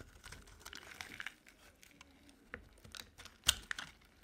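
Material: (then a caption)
Soap. A solid, rounded light blue bar of dry soap held in the hand is scraped and carved with a utility knife blade into flakes. The result is a quiet run of bright, crisp scratching and crinkling scrapes, with a few sharper clicks standing out near the end.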